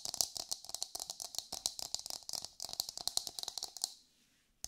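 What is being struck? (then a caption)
Coconut shell half. Long nails tap and scratch the hard surface of an empty, hollow brown coconut shell half held dome-out in the hands. A fast run of sharp, dry, bright clicks rattles for about four seconds, with no low end and no ring after each tap. It stops briefly before one last tap.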